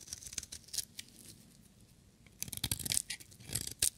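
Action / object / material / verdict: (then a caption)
scrape / bar of soap shaved with a blade / soap / none. A metal utility knife blade shaves curled shavings from a solid, hand-sized, yellow bar of dry soap coated in varnish. The shaving produces crisp, bright scraping and crackling in short bursts, with a quieter stretch in the middle before a louder flurry of cuts near the end.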